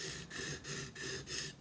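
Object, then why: Carving chisel steel layer on whetstone. The hard steel layer of a carving chisel is scraped back and forth on a whetstone in repeated strokes. It makes a bright, hissing grind with a faint low hum underneath, slightly higher-pitched than the sound of the soft iron side.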